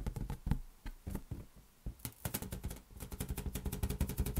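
A large, hollow, inflated green latex balloon is patted and tapped with the fingers. It gives dull, low, short thumps with almost no ring. The taps come sparse and uneven at first, then turn into a quicker, steadier patter over the second half.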